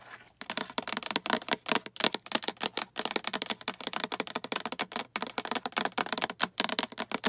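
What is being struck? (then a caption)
Small plastic storage box. Long acrylic nails tap and scratch the sides of a small, hollow, translucent green plastic storage box with a latch handle and diamond pattern, which appears empty. A rapid, continuous run of short, dry, bright clicks with very little low end follows, each dying away almost instantly, with a few brief pauses between bursts.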